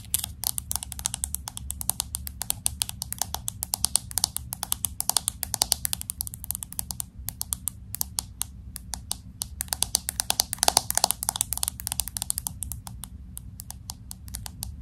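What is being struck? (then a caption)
Smartphone with glass back and aluminum frame. Long acrylic nails tap rapidly on the glass back of a pink smartphone with an aluminum frame, held steady. The result is a continuous stream of crisp, bright, short clicks over a faint low hum.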